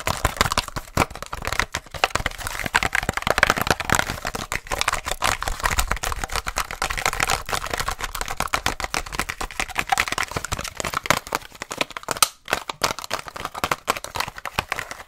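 Long nails tap and scratch fast on a small purple blister pack, a hollow plastic shell on a cardboard card. Dense, crisp plastic clicks and rasping scrapes run almost nonstop, bright with a midrange focus near 1.5 kHz, broken only by a brief pause around twelve seconds.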